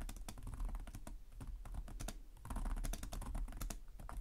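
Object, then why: Plastic laptop keyboard. Fingertips of both hands type rapidly and continuously on a black laptop's low-profile plastic chiclet keys, over its hollow device body. A dense stream of short, bright plastic clicks and soft taps is heard, with a steady low rumble underneath.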